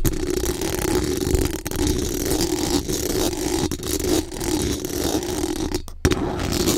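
Extra-long acrylic nails on both hands scratch and tap fast and aggressively on the hollow, rounded metal mesh grille of a bare microphone. The result is a continuous, dense rasping scrape with a steady tone around 367 Hz and a faint high hiss. There are brief dropouts near 1.6 and 6 seconds, then a sharp tap as the scratching resumes.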